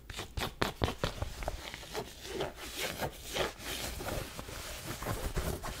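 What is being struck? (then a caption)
Cotton baseball cap. Long manicured nails scratch and rub a black cotton Nike baseball cap, its hollow soft fabric held in the hand. The sound is a steady run of quick, dry scratchy strokes and soft fabric rubbing, with brief louder bursts over a low, muffled rustle.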